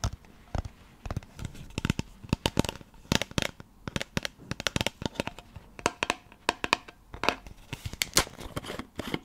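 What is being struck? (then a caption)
Plastic pill bottle with cap. Long nails tap the white cap and amber plastic body of a supplement pill bottle held close to a microphone and scratch across its label. The result is a dense run of sharp, dry clicks and ticks with bright papery scratching between them.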